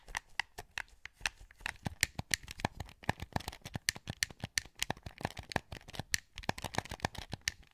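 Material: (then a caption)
Plastic. A hollow, translucent green plastic PS2 wireless controller is held in both hands while fingertips click its buttons and sticks. About forty rapid, dry, bright clicks and taps come in quick irregular succession, each centered around 1.8 kHz and dying away almost instantly.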